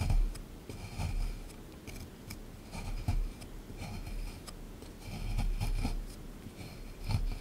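A small chisel tool picks at and scrapes a solid plaster excavation block sitting in a tray. Gritty, bright scratches and short picking clicks come in uneven bursts over a low, dull rumble of contact with the block.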